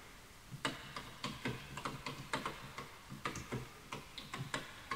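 A full-size light bamboo keyboard with wooden keys, sitting on a white desk with a wooden mouse untouched beside it, is typed on rapidly with the fingertips of both hands. The taps come as short, dry clicks with a hollow wooden knock underneath and bright tips, spaced irregularly over a quiet background.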